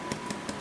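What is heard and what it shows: Three taps on the top crust of a sourdough loaf baked in a bread pan inside an improvised wood-stove oven give short, dull, hollow knocks over a faint steady hum. The sound shows the bread is almost done, with about five minutes left.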